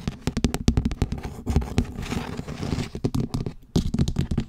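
A large pink perforated plastic tray lid, held upright, is scratched and tapped on its textured surface by one hand with long nails. Quick, dry taps alternate with a stretch of softer scratching, producing a low, thumpy clatter with short bright clicks that stop almost at once.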